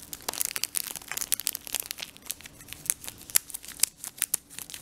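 A full Brooklyn gum 4-pack in a thin, crinkly paper and foil-lined wrapper is held in both hands and rubbed and crinkled with the fingertips. It makes a dense, irregular stream of bright, sharp crackles and crinkles that cut off instantly, with almost no low end. A few louder snaps stand out.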